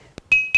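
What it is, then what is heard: Dense stone lithophone, musical ring. A dense stone lithophone is struck right after a sandstone grinding stone, and unlike that stone it rings with a musical, xylophone-like note. A faint tap is followed by two strong strikes, each sustaining a clear, steady tone near 2.5 kHz that slowly fades.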